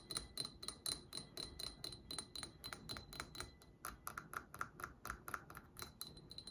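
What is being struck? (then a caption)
Glass candle jar. Long acrylic nails tap and scratch around the outer wall of a small cylindrical gold-tinted glass candle jar with an amber metallic finish and wax inside, held up in both hands. A quick, uneven run of bright, clicky taps comes through, each carrying a faint high glassy ring that dies away almost at once, with soft scratching between them.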